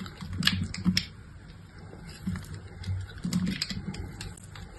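A utility knife blade repeatedly scrapes and cuts crumbly flakes off a fist-sized, solid, rounded chunk of dried soap with a dark glittery coating and a pastel inside, held in the hand. Dry, crunchy scrapes and crackles come in short bursts, with soft low thuds beneath bright, brittle ticks.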